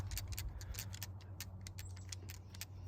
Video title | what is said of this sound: Smith & Wesson M&P 10mm 2.0 | it rattles like certain round counts will rattle like when you knock one out